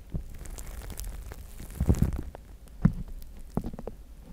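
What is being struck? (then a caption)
Plastic spiked massage mat. Both hands scratch and tap the spikes and pads of a large, flat gray plastic spiked massage mat with fingertips and short nails. Irregular soft clicks and scratchy patter sit over a low rumble, with a few stronger taps standing out near the middle and toward the end.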